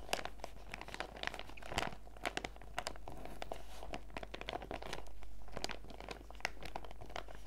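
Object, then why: Clear plastic zip pouch of sachets. A small transparent PVC zip pouch with a fruit print, full of face-mask sachets, is held in both hands while fingertips and nails squeeze and crinkle the plastic. Dense, quick crinkles and sharp bright clicks follow one another throughout, over a steady low hum.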